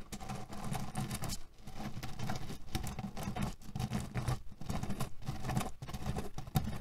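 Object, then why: Cotton pillow filled with cherry pits. Fingernails rapidly scratch and tap on a cotton cushion filled with cherry pits. The pits make a dense, continuous low rattling crunch that is mostly muffled and low in pitch. The sound stops briefly a few times before picking back up.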